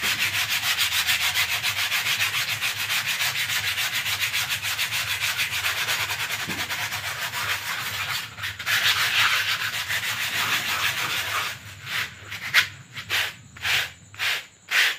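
A rolled lavender paper sheet shaped into a hollow tube is rubbed and twisted between the palms and fingertips, giving a fast, steady, bright rustling scrape for about eleven seconds with a brief pause near the middle. It then breaks into several separate, short crinkly strokes.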